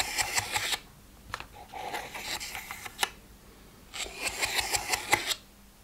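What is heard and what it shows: A plastic weekly pill organizer with empty, open compartments is scratched and rubbed across its lids by fingertips and nails. Bright, crackly scratching comes in bursts, with a quieter rubbing stretch in the middle and a few sharp clicks.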